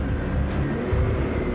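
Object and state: Nothing is struck.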